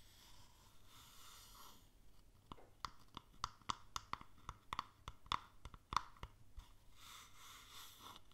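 A small, hollow wooden stamp box with contents inside is held tilted and tapped and scratched on its underside and side with long nails. Soft, hissy scratching at the start and end frames a quiet run of about fifteen quick, dry taps with a woody knock around 1.1 kHz. Each tap stops almost at once, with no ring.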